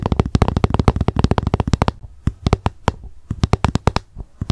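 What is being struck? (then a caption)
Plastic food container. Long nails tap rapidly on the top of a hollow, frosted translucent plastic lunch box lying upside down. The clicks are short and dry with a low thud, coming in a dense burst, then a brief pause, then sparser clusters.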